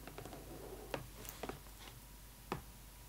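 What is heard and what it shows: A pointed, metal-tipped pen-like tool held by long acrylic nails taps and scratches the thin, hollow clear plastic window of a cardboard Barbie doll box, right over the doll's face. A few sharp, dry plastic ticks stand out over soft, faint scratching and a low background hum, each tick dying away almost at once.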